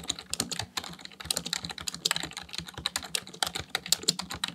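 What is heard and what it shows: Fingertips type continuously on a full-size black plastic computer keyboard, producing a rapid, steady stream of around thirty sharp, bright key clicks. Each click is short and dry, dying away almost instantly with very little low-end thump.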